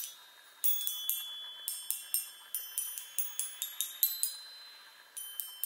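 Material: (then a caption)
Metal. Long nails tap the hollow metal tubes of a small handheld chime on a wooden frame. About fourteen quick, irregular taps each give a bright, high metallic ping that rings briefly over a faint background hiss.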